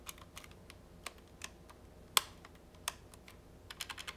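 A hollow pink plastic retro trimline phone handset is held in the hand while its rubber/plastic keypad buttons are pressed and clicked repeatedly with the fingertips. About a dozen short, dry, bright clicks come at an uneven pace, with no ring after them. The loudest, sharpest click lands near the middle, and a quicker run of presses closes the clip.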